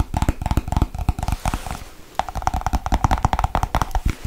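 A small, hollow white plastic Nivea cream jar is tapped rapidly with long white nails on its lid and base. The dense, fast clicking has a low, thumpy body and a hollow tone in the mids, with a brief lull near the middle before the quick tapping resumes.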